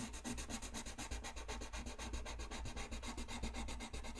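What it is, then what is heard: Colored pencil shading on paper. A colored pencil tip rubs a thin white paper coloring sheet lying flat on a desk in fast shading strokes. The result is a steady, raspy scratching that pulses about four times per second, with bright hiss over a low rumble.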